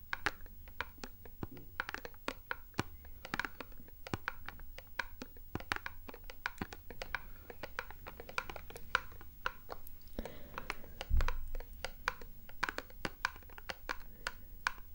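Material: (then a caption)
Cardboard. A small printed cardboard box is tapped and scratched with long painted nails, giving a steady run of quick, dry clicks over soft scratching and a low background hum. A single heavier thump stands out near the end.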